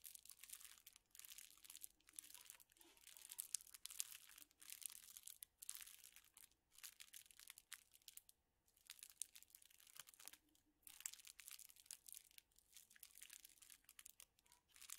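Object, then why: Bundle of straws in thin plastic wrappers. A bundle of straws in thin, clear plastic wrappers is crinkled and rubbed with the fingers. Dense, bright crinkling and crackling comes in bursts with short pauses, with almost no low end.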